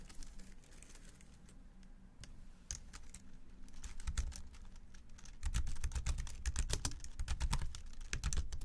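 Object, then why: Plastic computer keyboard keys. Both hands type with their fingertips on the low-profile plastic keys of a slim white keyboard resting on a black desk. Soft, scattered clicks start sparse and irregular, then turn into a faster, denser patter of bright taps. The typing gets noticeably louder over the last few seconds, with a low rumble underneath.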